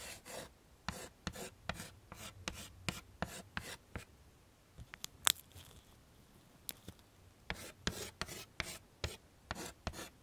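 Chalk scribbles a grass texture along the bottom of a wood-framed chalkboard in rapid, short scratching strokes, each a dry, bright, broadband rasp with no ring. The strokes come in quick bursts, thin out to a few scattered scratches in the middle, then resume at the same fast pace.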